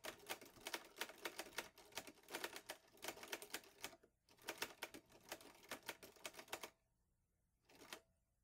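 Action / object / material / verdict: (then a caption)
tap / metal portable typewriter / metal / none. Fingertips type steadily on the keys of a vintage teal metal portable Underwood Olivetti Lettera 22 typewriter with paper loaded. Rapid, bright, crisp key strikes come in dense bursts, with a brief pause near the middle and a near-silent gap before one last short flurry.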